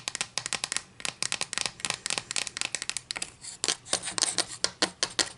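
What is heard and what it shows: Long nails scratch along the face of a solid wooden ruler held in the hands, making a rapid series of short, bright, dry scratches and clicks. The sound is crisp and high-pitched with almost no low end, and each stroke dies away at once.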